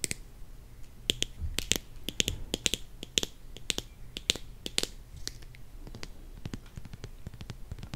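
Long nails tap on a plastic squeeze bottle full of honey and on its cap. The result is a quick, irregular series of sharp, bright clicks that die away almost instantly, some louder than others, over a faint steady low hum.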